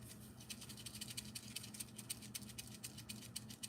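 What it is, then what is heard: Dry okra pod with mature seeds, ready for seed harvest. A dried, brown, hard okra pod is shaken while still on the plant, making a quick series of dry, bright rattles as the seeds knock around inside over a low background hum. The rattling shows the seed is mature and ready to harvest.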